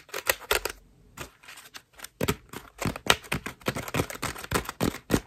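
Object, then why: Foam bath loofah tapped and scratched with fingernails. Long nails tap, scratch and squeeze the petals of a cream foam bath loofah, producing a rapid series of crisp, dry, scratchy bursts with bright hiss. The sounds cut off quickly, with a softer, quieter stretch near the start before the scratching picks up again.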